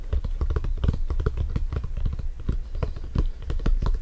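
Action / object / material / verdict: tap / synthetic leather soccer ball / synthetic leather / none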